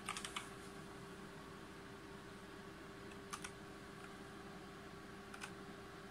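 Fingertips of both hands tap keys on a full-size backlit G513 Carbon mechanical keyboard with GX Brown switches and plastic keycaps on a brushed aluminum plate. About eight soft, bright clicks come in short bursts: a quick cluster at the start, a pair in the middle and another pair near the end. A faint steady hum runs underneath throughout.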